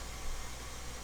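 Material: Nothing is struck.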